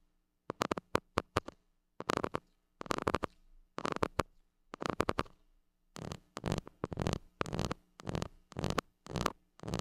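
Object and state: Metal mesh microphone grille being scratched.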